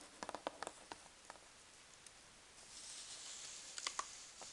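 Fingertips and long nails tap rapidly on the folded-over flap of a large corrugated cardboard box filled with packing peanuts. The result is a scatter of short, dry, bright clicks that die away almost instantly. A soft, high rustling swell follows before a few final taps.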